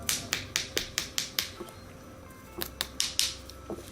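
A fingernail taps on a sculpted acrylic nail on a trainer hand, giving twelve sharp, bright, clicky taps in two quick runs separated by a short pause. The hard, dry clicks show the acrylic has cured and hardened, so it is ready to be shaped and filed.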